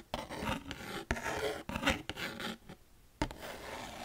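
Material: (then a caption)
Cardboard. Long fingernails scratch and rub across a small, thin, hollow white cardboard packaging box. Dry, raspy scraping strokes start with sharp onsets, with a near-silent pause before a final stroke.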